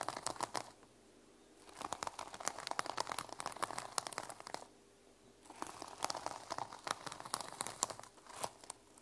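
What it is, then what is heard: Sequin-covered journal. Medium-length nails scratch and flip the teal and silver reversible plastic sequins on the cover of a small, flat fabric journal lying on a wooden table. The result is dense, bright, crinkly clicking and rustling that comes in two long bursts. A brief quiet pause separates them.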